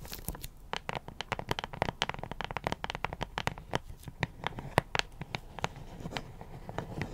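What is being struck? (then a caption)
Cardboard puzzle box. Long acrylic nails tap and scratch across the printed face and top edge of a closed cardboard puzzle box held upright. The result is a rapid, uneven stream of dry, crisp clicks and papery scratches. Each hit stops instantly with no ring over a soft low rumble.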